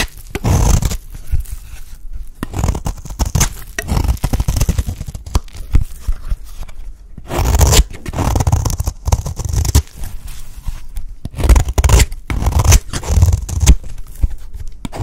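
A blade shaves thin strands off the end of a solid, dry green soap bar. The result is a run of dry, crumbly scraping strokes, heavy in the low end with a faint bright hiss. It comes in uneven bursts with short pauses between them.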